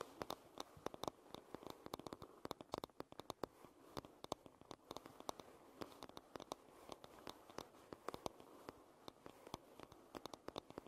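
Long red nails tap rapidly on the solid wooden back of a paddle hairbrush, making a quick, uneven stream of dry, sharp clicks. The clicks stop short with no ring, over a soft, steady background hiss at a quiet level.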